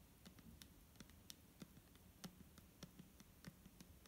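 Fingernails tap on a clear plastic micellar water bottle filled with liquid, producing a quiet, irregular string of short, sharp clicks. Each tap is bright and dies away almost instantly, with a faint low thud beneath it.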